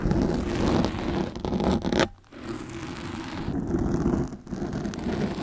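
Steel fork tines scrape across the top and sides of a black foam microphone windscreen dome held in both hands, making a dense, rough, crackling scratch concentrated in the low and low-mid range. The scraping runs almost continuously, breaks off briefly just after the two-second mark, then resumes with a short dip later before carrying on to the end.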